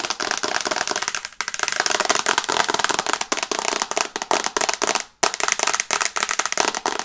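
Long red nails tap rapidly on the large flat glass screen of an iPad in a teal and brown plastic case, held in both hands. A dense stream of sharp, bright clicks runs with almost no low end, each tap dying away almost instantly, with brief gaps near 1.4 and 5.2 seconds.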